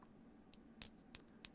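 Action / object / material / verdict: strike / coins pinged together / metal / fake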